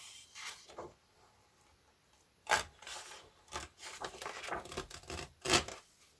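Both hands, palms and fingertips, rub and smooth across the thin paper pages of a large open paperback colouring book lying flat on a wooden table. The result is soft, bright, hissing rubbing strokes in an irregular series, with two louder sweeps standing out.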